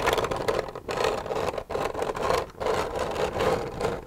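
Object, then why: Plastic milk jug. Long red nails scratch the surface of an empty, hollow white plastic milk jug. The result is a dry, hissing scrape with a hollow midrange tone, coming in continuous stretches broken by brief pauses.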